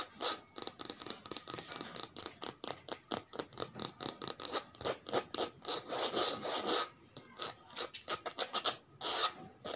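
Long red nails scratch and rub the surface of a cream-and-grey checkered coated canvas handbag with a metal logo plate on the flap, lying flat on a woven mat. About three dozen quick, bright, hissy scrapes follow one another in an uneven rhythm, each short and dry with almost no low end and no ring.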